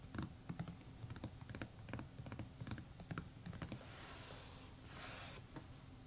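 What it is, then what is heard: Hardcover notebook tapped with fingertips. Fingertips drum and tap repeatedly across the cover of a closed red paisley embossed hardcover notebook lying flat on a table, making a quick run of short, dull, low-heavy taps that die away almost at once. Near the end, two soft, airy swishes with a bright hiss come in before a few final light taps.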